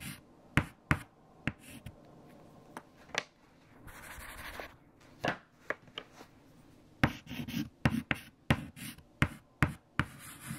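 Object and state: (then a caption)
Chalk writing on a chalkboard. Fingertips hold white chalk and write equations on a large, flat black chalkboard. About 15 sharp, brief taps of the chalk against the board are heard, with a longer bright scratching stroke in the middle and softer rubbing between the taps.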